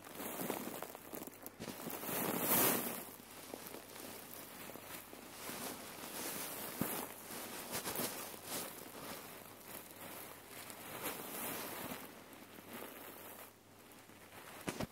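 A red cotton neck pillow filled with cherry pits is bunched up, squeezed and rubbed by fingers with long nails. The result is a continuous, irregular rustling and gritty crunching of the pits shifting inside the fabric, with a louder swell of crackling near the start before it settles into steady crinkling.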